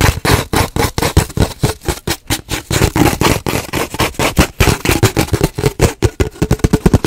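Long nails tap and scratch on an empty, hollow cardboard paper towel roll held horizontally close to the mic. Fast, irregular taps give dull, hollow low thuds with a short tube resonance near 200 Hz. Each tap dies away almost at once, with rough, papery scratching between them.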